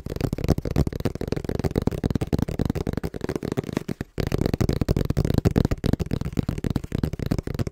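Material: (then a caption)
Cardboard. Fingertips tap quickly and rhythmically on the face of a small, hollow brown corrugated cardboard box held in both hands in front of a microphone. The result is a dense stream of dull, low, hollow thuds with almost no ring, pausing briefly around the four-second mark before carrying on.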